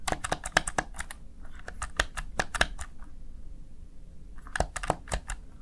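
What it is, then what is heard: Plastic gaming keypad. A Razer Tartarus Chroma gaming keypad, a small black plastic backlit unit, has its keys pressed and tapped by fingertips. Short, sharp plastic clicks come in bursts with brief quiet gaps, including a pause near the middle. Each click has a bright tick and dies away almost at once.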